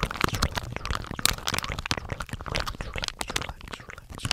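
A hand-sized, blue and white soft plastic pouch full of face wipes is crinkled and squeezed with fingers close to the microphone. The result is a dense stream of sharp, bright crackles and rustles over a soft low thump from the handling.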